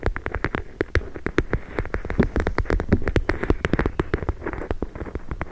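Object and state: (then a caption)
Plastic gel bead pack. A hand-sized clear plastic pouch full of small teal gel beads, soft and filled, is held in one hand and tapped and squeezed with long nails and fingertips. It makes a rapid, uneven stream of short, dry taps and clicks with a soft, low-heavy body and no ringing, some hits brighter and sharper than others.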